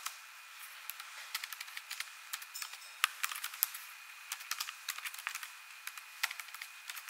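Long nails tap the plastic keys of an ASUS laptop keyboard while typing, making a quick run of sharp, bright clicks with almost no low end. The taps come in uneven bursts over several seconds, each one dying away almost at once, with a few louder clacks standing out.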